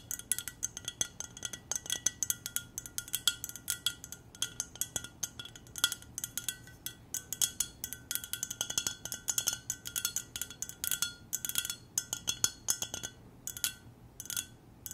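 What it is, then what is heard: Glass mug tapped with fingernails. An empty, hollow clear glass mug with silver decoration is held in both hands and tapped with long nails. Rapid, light, bright clinks ring around 3.3 kHz, with almost no low end. Each tap dies away almost instantly.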